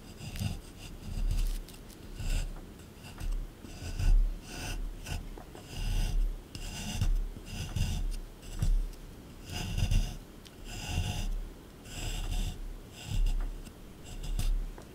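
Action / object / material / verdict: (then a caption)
scrape / plaster dig block scraped with a small metal tool / plaster / none. A small metal scraper chips and scrapes the surface of a solid plaster excavation dig block. It makes about eleven rough, rasping scraping bursts with short pauses between them. The sound is mostly low and gritty, with faint bright scratchy edges.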